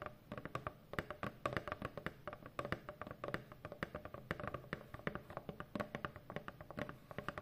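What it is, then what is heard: Cardboard shipping box. Long fingernails and fingertips tap rapidly on a large hollow corrugated cardboard shipping box. A dense run of short, dry clicks and soft thumps carries a hollow tone around 570 Hz, with each tap dying away almost at once.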